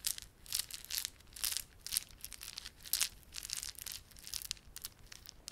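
Fingertips rub and squeeze a small clump of plastic garland held in both palms, made of solid, glossy dark blue and silver plastic beads with red spiky plastic fringe. Quick bursts of bright, dry clicking and crinkling come and go, with almost no low end and no ring after each burst.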